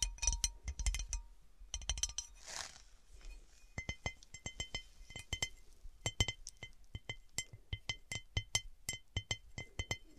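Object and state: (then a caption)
Cut glass serving dish. Long dark painted nails tap and scratch the patterned top of a large, round, divided serving platter made of textured cut glass, solid and empty. Many quick, dry clicks sound with bright glassy tings and almost no ring, plus a brief soft scraping swish, before the dish is tilted and the fast tapping carries on.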